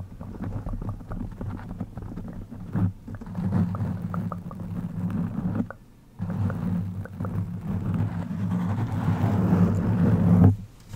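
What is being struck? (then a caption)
Foam microphone windscreen. Long pink-and-white acrylic nails scratch and tap on a soft, rounded black foam windscreen over a microphone. It makes a dense, muffled, low rumbling scrape with quick irregular taps, heavy in the bass around 100 Hz. There are brief quiet gaps near 3 and 6 seconds, and it swells before cutting off near the end.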